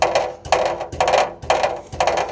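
A loose steel rear exhaust heat shield hanging down near the secondary catalytic converter on a 2010 Toyota Corolla 1.8 is rattled against the exhaust. Five evenly spaced bursts of tinny metallic clattering, each with a short ring around 620 Hz, show that the shield is loose.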